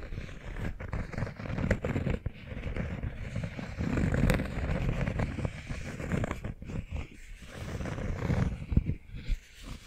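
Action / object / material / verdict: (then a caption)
scrape / cork coaster / cork / none. A round, flat, solid cork coaster about palm size, held in both hands, is tapped and scratched with short manicured fingernails. Soft, dull taps and rustling scrapes come in a steady stream, mostly low and muffled, with almost no ring after each touch.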